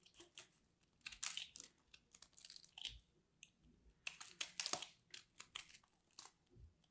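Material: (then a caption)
Soap. A solid orange and cream grated-soap ball held in the hand is carved with a metal blade tool, and crumbly pieces break off. The result is a quiet, irregular series of bright, dry crunching and crackling scrapes with little low end.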